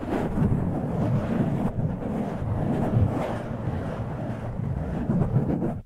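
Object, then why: Foam microphone windscreen. A soft, porous black foam windscreen over a microphone capsule is rubbed and scratched with the fingertips and nails of both hands. This makes a continuous, dense, low rumbling scrape with a crackly texture, heavy in the low end and with little brightness. The loudness stays fairly steady with small surges before dropping away at the end.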